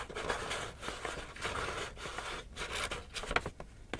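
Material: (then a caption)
Paper. An empty small black paper gift bag, held in both hands, is tapped and scratched by fingertips and nails across its paper surface. Dry, bright crinkling and scraping swell and fade in soft waves, broken by quick papery taps, with one sharper tap standing out near the end.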